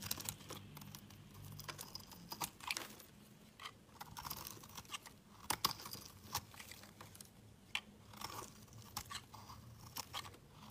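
A metal utility knife blade shaves curls off a solid, palm-sized orange bar of soap held in the hand, carving and scraping in short strokes. Each stroke gives a quiet, crisp, bright crunching scrape that stops quickly, over a faint steady low hum.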